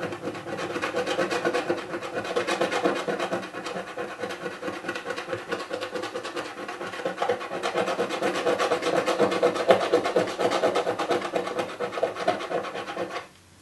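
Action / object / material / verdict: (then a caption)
scrape / cardboard box lid with scratch-off foil / cardboard / none. A coin held in the fingers scratches the grey scratch-off foil on the lid of a small hollow cardboard box lying flat. Quick, dry, rasping strokes repeat steadily for about 13 seconds, with a hollow midrange resonance from the box, then stop abruptly near the end.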